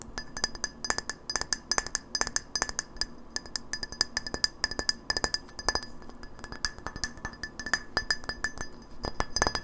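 A small, hollow incandescent light bulb of frosted white glass with a metal screw base is held in the hands and tapped quickly on the glass with long nails. A rapid, uneven run of sharp, bright glassy clinks follows, each with a brief ringing tone around 1.7 kHz that dies away almost at once.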